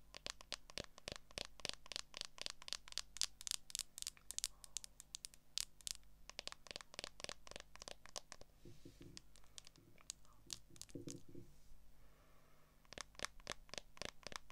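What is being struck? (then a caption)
Smartphone in a clear plastic case. Long nails tap and scratch the back of a smartphone in a solid, transparent plastic case. Rapid, bright, dry clicks run with very little ring, broken by short scraping passages and a steady low hum underneath.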